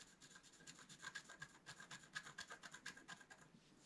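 A wooden stylus scratches and rubs across the black coating of a flat scratch art paper card, making quiet, dry, bright scratching strokes. About 18 short, irregular strokes come in quick succession with a faint squeaky tone near 1.7 kHz, and each dies away at once.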